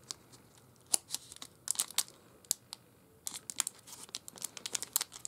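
A sealed Snickers candy bar, full with the bar inside its dark brown plastic film wrapper, is held between the fingertips and thumbs of both hands while the wrapper is squeezed and rubbed. Quiet, bright crinkling comes in quick clusters of sharp crackles, with a short lull before a denser run of crinkles at the end.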